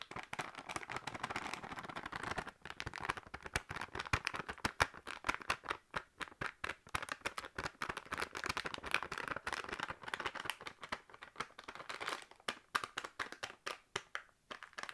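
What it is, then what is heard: Plastic noodle packet. A full, sealed plastic packet of dried instant noodles is tapped and crinkled with long nails. A steady stream of quick, dry clicks and plastic crackles runs throughout, bright and mostly above 500 Hz, with brief pauses.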